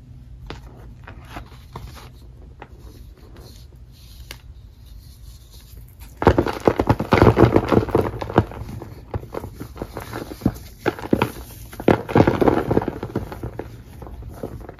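A fist-sized, solid lump of black-dyed gym chalk (magnesium carbonate) with gold flecks is held in both hands over a bed of loose black chalk powder. Fingertips with long painted nails squeeze and rub it until it crumbles into dry powder. Faint, sparse crackles for the first six seconds give way to louder, dense crunching and gritty crumbling, which eases and then swells again near the end.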